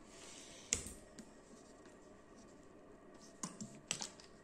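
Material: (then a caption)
Plastic. A full, medium-sized plastic bottle of orange juice drink with a plastic sleeve label is held in the hand and tapped and scratched rapidly with fingernails. Quiet, bright scratching runs throughout, broken by six sharp, short clicking taps: one near the start and a cluster toward the end.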